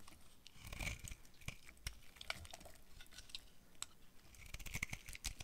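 A utility knife blade carves brittle yellow flakes off a hand-sized, dry yellow bar of soap with a dark coating, held in one hand. Quiet, crisp scraping and crunching cuts come in quick bursts, with bright crackles and soft low thumps as the flakes break away.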